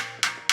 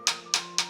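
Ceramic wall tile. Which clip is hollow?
The first.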